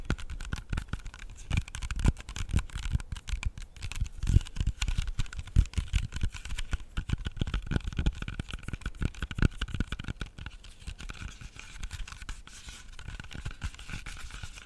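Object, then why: Whole apple. Fingernails tap and scratch the skin of a whole, solid red apple held close to the microphone. The result is a dense run of quick, dull low thumps and soft scratchy rustles that stop short with no ring, over a faint steady hum.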